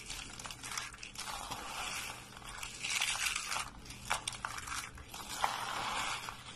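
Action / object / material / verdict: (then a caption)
scrape / soap shavings / soap / none. A pile of hollow, curled, dry white soap shavings is crushed between fingers into brittle flakes. The result is a steady, bright, crunchy crackling that swells and fades, with a few sharper snaps standing out.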